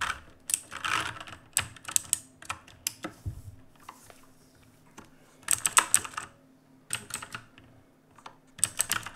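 A black full-size mechanical keyboard with plastic keycaps, sitting on a wooden desk, is typed on rapidly with fingertips. Bursts of sharp, bright clacks come in quick clusters, separated by brief pauses. Each key strike rings only briefly.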